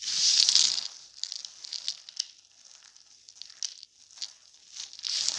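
Both bare hands grab handfuls from a heap of small pastel soap shards coated in starch powder, crushing and rubbing them between fingers and palms so crumbs fall. It makes a bright, dry crunching and crinkling, loudest at the start and end, with softer scattered crackles in between.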